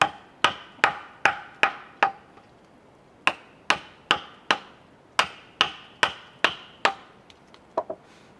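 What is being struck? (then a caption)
Wooden mallet on chisel in cedar log. A chisel is struck with a wooden mallet into a large, solid cedar log resting on a sawhorse, giving sharp knocks and chops. There are about fifteen hits in two bursts with a pause near the middle, then a few softer taps at the end. Each hit is short and dry with a woody tone around 800 Hz and a bright attack.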